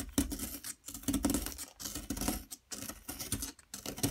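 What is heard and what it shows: A metal pick tool scrapes a solid yellow plaster block, making five gritty, scratchy scraping passes separated by brief pauses. Each pass is full of fine, crackly texture from the crumbs breaking off and falling.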